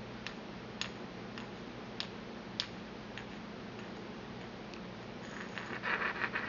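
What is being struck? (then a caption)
Porcelain mortar and pestle. A porcelain pestle taps inside the hollow bowl of a small, empty white porcelain mortar held in the palm, giving sharp, bright, short-ringing ticks at an uneven pace. Near the end the taps crowd into a denser, scratchier cluster, all over a faint, steady low hum.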